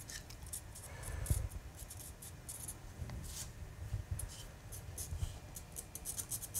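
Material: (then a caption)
Wood. Two hands push a small steel gouge along a large, solid carved wooden panel with chips scattered on it, paring and scraping fine detail. Quiet, steady scraping is broken by short, crisp, bright shaving strokes over a soft, low rumble of handling. The strokes fade almost immediately, with no ring.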